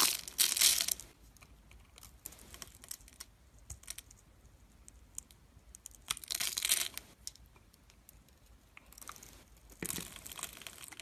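A metal utility blade carves a solid oval of green translucent glycerin soap, pre-scored in a grid and held in the hand, shaving off small clear cubes. Bright, crisp scraping and crackling bursts come in three louder stretches, near the start, around the middle and toward the end. Between them are quiet, scattered light ticks.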